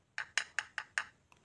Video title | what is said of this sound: BILED matrix X1 icc - review lengkap | ketika diketuk oleh obeng ini suaranya tidak nyaring ya Jadi ini berbahan plastik